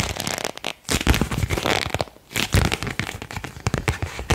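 A single thin printed paper card is bent and rubbed between the fingers and thumbs, making dense crinkling and crackling. The crackles come in bursts, with brief quiet pauses near 0.8 and 2.2 seconds.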